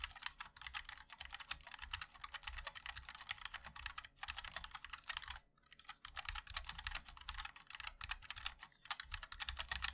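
Fingertips of both hands type continuously on a compact 60% MOD-L mechanical keyboard with a black case, white and black plastic keycaps and linear switches. The result is a rapid, steady stream of short, bright plastic clacks over a soft low thud, with a brief pause just past the midpoint before the typing resumes.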